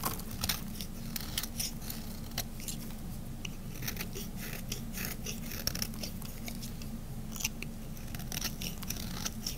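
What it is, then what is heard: Bar soap being shaved. A solid cream-colored bar of soap is held in the fingers while a small metal blade shaves its edges in short strokes. Dry, crisp scraping and crunching strokes flick by in quick, bright bursts over a steady low hum, each sliver snapping off cleanly with almost no ring.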